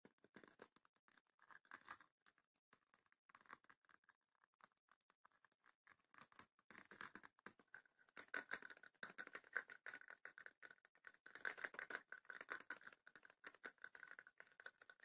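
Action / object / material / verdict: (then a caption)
tap / small wooden chest with woven rattan lid / rattan, wood / none. Long fingernails tap and scratch across the woven rattan lid of a small, closed, hollow wooden chest, then move to its sides. The result is a quiet, dry stream of rapid clicks and scratchy rustles with no low end, centered around 1.5 kHz with some bright edge. The taps thicken into denser, louder bursts in the second half.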